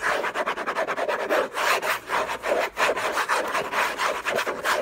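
Fingertips and nails scratch fast and hard across the lid of a hollow orange cardboard gift box covered in textured paper. The result is a run of rapid, dry, papery rasping strokes with a hollow mid-range body and a bright scratchy hiss on top, with no low end and no talking.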